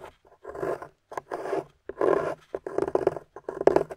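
A metal pick scrapes and carves grooves into the top of a solid gold-painted plaster excavation bar held in the hand, with a pile of crumbs beside it. The result is a series of irregular, gritty scraping strokes of varying length, separated by short pauses, with a dry, crumbly texture centered in the midrange and almost no ring.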